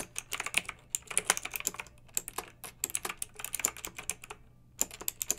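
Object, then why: Plastic mechanical keyboard with round keycaps. Fingertips with long nails type with both hands on a pink backlit plastic mechanical keyboard with round typewriter-style plastic keycaps. Bright, crisp clicks and clacks run in quick bursts, with a brief pause near the end before the typing resumes. Each keystroke stops almost instantly over a faint low steady hum.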